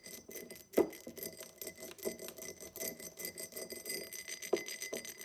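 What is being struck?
Empty cut glass tumbler.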